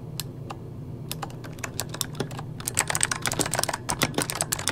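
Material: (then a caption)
Plastic. Fingertips of both hands type rapidly on a full-size backlit mechanical computer keyboard with plastic keycaps. Sharp, bright key clicks start sparse and grow into a dense, uneven flurry over a low, steady hum.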